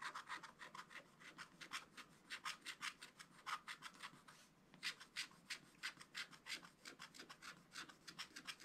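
The pointed tip of a wooden stylus, held in the fingers, scratches a wax-coated scratch-art page in a spiral-bound book, with a black coating over colored paper, lying flat on a table. Quick, dry, bright scratching strokes come in an uneven rhythm of about three per second. There is a short pause partway through before the scratching resumes.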